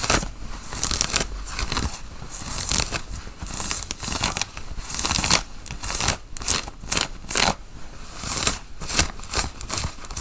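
Fingernails scratch the chest pockets and buttons of a worn, dark grey cotton flannel button-up shirt. The result is a run of bright, dry rasping strokes in uneven bursts, with sharper clicks and crinkly scrapes mixed in.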